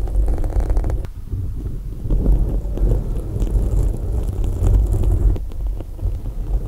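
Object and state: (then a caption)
Foam microphone windscreen being scratched. Long acrylic nails gently scratch and tap on both sides of a black foam windscreen covering a microphone. The result is a steady, deep, muffled rumble of soft scratching and dull thumps, with almost nothing in the high range.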